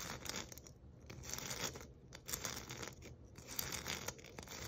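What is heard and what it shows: A palm-sized white glitter-coated foam ornament ball is held in both hands and scratched and rubbed with long nails. The result is a dry, crackly scratching and rustling, bright in the high frequencies, with short gritty bursts that swell and fade in an irregular rhythm.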